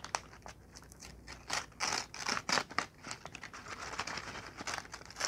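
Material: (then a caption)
Paper. A crumpled ball of brown kraft packing paper is squeezed and crinkled in both hands with fingertips and long nails. Dense, bright crackling and rustling runs throughout, with louder crunching bursts from the harder squeezes. There is very little low end and no lingering ring.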